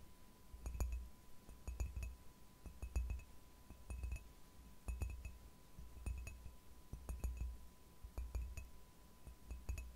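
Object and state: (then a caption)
Ceramic mug tapped with nails. Long fingernails tap and scratch the side of a hollow, apparently empty white ceramic "Relax-Tasse" mug held upright in the other hand. Quick clusters of light, bright clinks with a short ring recur in loose, uneven bursts over a soft low rumble and a faint steady tone.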